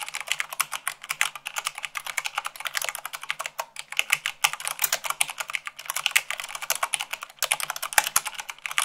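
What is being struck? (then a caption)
Plastic mechanical keyboard. Rapid typing at about 98 words per minute on a white plastic mechanical keyboard, struck with fingertips and long nails. A dense, steady stream of short, bright clicks and clacks with almost no low end, each keystroke dying away almost instantly, with a few brief pauses in the flow.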